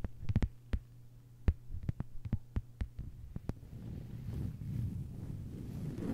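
Long white-polished nails on both hands tap a thin, solid, flat lime-green plastic cutting mat lying on a table, making about thirteen sharp, dry clicks over a steady low hum. After about 3.5 seconds the tapping gives way to a softer, continuous low rumbling and scratchy texture.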